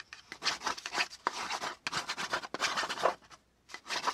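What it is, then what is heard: Pen scratching on kraft cardboard. The tip of a black pen scratches back and forth across a flat brown kraft cardboard panel held down by one hand. It makes quick, dry, rasping strokes in a bright, papery hiss with almost no low end, each one cutting off cleanly. A brief pause comes near the end before the scratching resumes.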